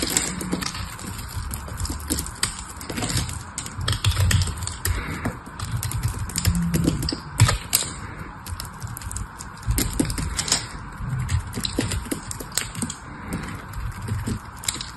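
A small metal blade shaves and carves flakes off a solid cream bar of soap held in the hand. Dense, quick, crisp scraping ticks and bright crackles sit over a steady low, soft rumble throughout. The cuts come in irregular bursts of varying loudness.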